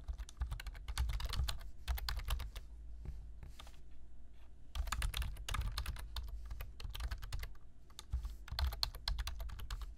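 Fingertips type steadily on a black plastic computer keyboard, producing rapid, sharp clicking taps with bright key clatter over a low, steady rumble. A quieter stretch with only scattered taps falls in the middle before the typing picks back up in dense bursts.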